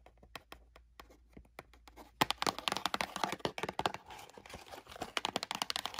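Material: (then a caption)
Cardboard. Long nails tap rapidly on the top and sides of a small, closed Lego Super Mario cardboard box. Sparse, quiet taps for the first two seconds give way to louder, denser bursts of crisp, dry clicks with a papery crackle and almost no ring.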